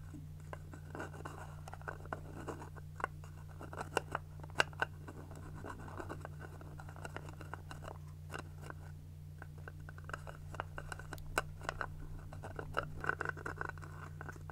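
A small round cosmetic jar with a purple lid and a white or clear plastic body, closed and held in both hands, is tapped and scratched with long acrylic nails. Many quick, dry plastic clicks and scratchy taps come at an uneven pace, some sharper than others. They sit over a steady low hum.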